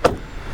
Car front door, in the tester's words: nice solid sounding door when you close it